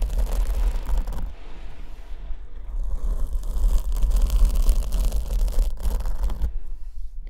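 Long white-tipped acrylic nails scratch and rub a medium-sized, soft black foam windscreen covering a condenser microphone held in the other hand, while a second microphone stands untouched beside it. The result is close, dense, crackling scratching over a heavy low rumble, easing into a quieter, duller rubbing stretch before building back to busier scratching.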